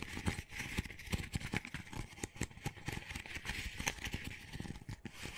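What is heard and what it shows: Fingertips and nails rapidly tap and scratch the side of an empty, small, hollow double-wall paper coffee cup with a textured dotted outer layer. The result is a dense run of quick, dry, papery clicks over a bright scratchy hiss, with no ring after each hit.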